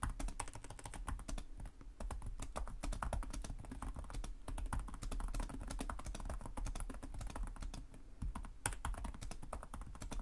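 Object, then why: Plastic laptop keyboard. Fingertips of both hands type rapidly and continuously on a black laptop's low-profile plastic chiclet keys, its hollow body beneath them. Dense, quick taps and clicks run without pause for about ten seconds, each one short and dry with a low, hollow thump beneath it.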